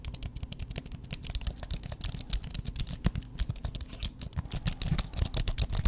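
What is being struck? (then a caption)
Slim keyboard with plastic keys on a metal base. A slim white aluminum and plastic computer keyboard, with plastic keys on a metal base, is held up in one hand while the other hand's fingertips and nails tap and type quickly on the keys. A steady stream of rapid, short clicks and clacks is heard, each with a bright tick over a low, dull thump, and they stop almost instantly with no ring.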